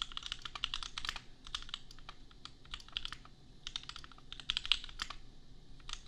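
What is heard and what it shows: Fast fingertip typing on a compact $250 custom mechanical keyboard with Gateron Milky Yellow switches and red and pink plastic keycaps. Rapid bursts of short, bright plastic clacks centered near 2.9 kHz stop dead with no ring, separated by brief pauses over a faint low background rumble.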